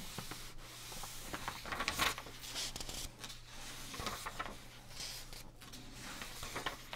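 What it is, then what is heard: Paper magazine pages being rubbed and turned. Bare fingertips and palms rub across the thin paper pages of an open price-guide magazine lying flat on a dark table, and turn the sheets. Soft, bright rustling and scraping runs throughout, with louder crinkling swells as the pages are turned, over a faint steady low hum.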